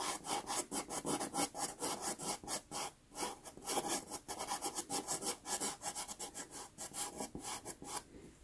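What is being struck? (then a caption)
Pastel pencil on textured pastel card. A white pastel pencil rubs and hatches across a small, taped sienna Pastelmat card in a fast, steady run of short strokes. Each stroke makes a dry, bright, gritty scratch with almost no low end, and the pencil briefly lifts before the final stroke.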